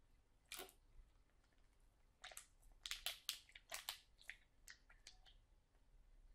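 A full, sealed plastic package of sauerkraut is lifted slightly and squeezed while fingernails scratch and crinkle its plastic film. Sharp, bright crackles come in short irregular bursts with quiet gaps between them, clustering most densely in the middle of the clip.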